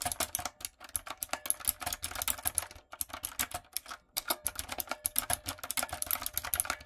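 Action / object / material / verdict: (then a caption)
tap / mechanical keyboard with plastic keycaps / plastic / none. Long nails and fingertips type on a retro typewriter-style backlit mechanical keyboard with round plastic keycaps. Rapid, bright, crisp clicks and clacks come in quick runs with brief pauses between bursts, and each keystroke stops short with almost no ring.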